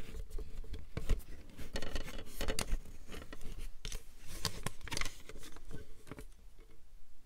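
A plastic paper trimmer is turned in the hands while its grid surface, underside and clear guide rail are scratched and tapped with long nails. Dry, bright scratches mix with quick clicking taps over a steady low rumble, each tap dying away almost at once.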